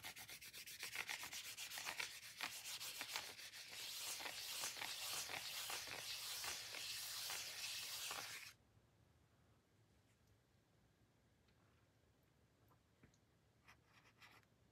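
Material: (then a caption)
Card stock. Fingertips and short nails rub and trace the printed logo on the flat, solid, silver-white card-stock cover of a photobook held in hand. The result is a fast, steady run of bright, dry scratching strokes lasting about eight and a half seconds. The rubbing then stops abruptly, leaving near-silence with a few faint ticks.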